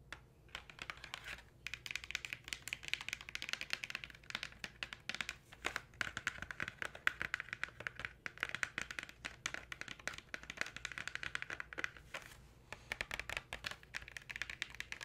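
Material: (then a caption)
Cardboard. Long nails and fingertips tap rapidly on the back panel of a Crayola Markers box, thin printed cardboard, hollow with markers inside, held in the hands. The taps are quick, dry and bright clicks that die away almost instantly, running in dense bursts with a few brief pauses.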